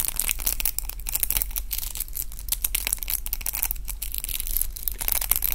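A pink round roller hair brush with plastic bristles and a wooden handle is twisted and rubbed in both hands with the fingertips. The result is a continuous run of dense, crackling scratches and crinkles, bright and airy on top, over a steady low hum.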